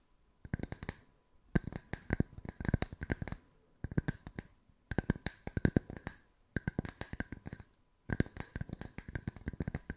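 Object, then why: Round wooden slice coasters. Long white nails tap the flat faces of two identical solid round wood-slice coasters with bark edges, one held in each hand. Six bursts of rapid, dry wooden clicks are separated by brief pauses, each tap a hollow low knock with a bright tick and almost no ring.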